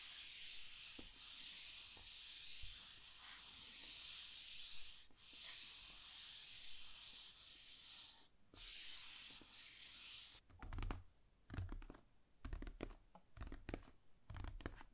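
Fingernails scratch across the lid of a large, hollow, rigid cardboard gift box, making a steady bright hiss with faint low taps underneath for about ten seconds. The scratching then stops and gives way to a series of light, separate taps and brief scrapes on the lid, each with a hollow low thud.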